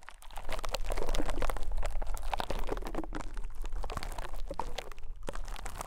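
A rose-gold metal pick pokes and scrapes the surface of a small, soft white konjac sponge resting on a mic capsule. The result is a dense, irregular stream of quick, crunchy, crackling clicks with a faintly wet texture, each dying away almost at once over a low, steady rumble.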